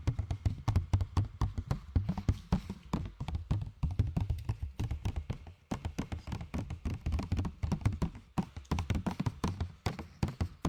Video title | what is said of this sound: ASMR Tapping sur des Objets ALÉATOIRE ! | C'est pas le meilleur plastique que j'ai vu. Avec des gobelets, c'est bien mieux.